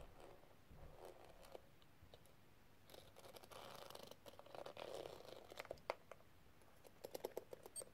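A small, flat, hollow metal case covered in pink square plastic gems with a crystal rim is held in a hand with long red nails and tapped and scratched with the tip of a pink metal tool. Quiet, dry scratching and rustling run throughout, broken by sharp clicking taps with bright ticks and brief clinking tones around 550 Hz that die away almost at once.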